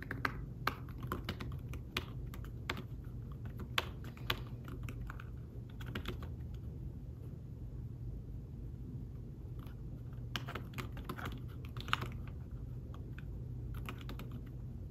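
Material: Fabric.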